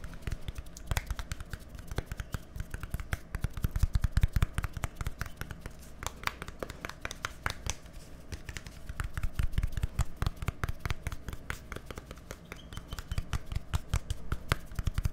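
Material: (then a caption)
Plastic. A small, hollow white plastic deodorant stick with a green cap is held close to the microphone and tapped and scratched with fingertips and nails. The result is a fast, irregular stream of dull, low thumps mixed with sharp, bright clicks and scratchy rasps that stop dead with no ringing. The taps come in waves, swelling louder and then easing off.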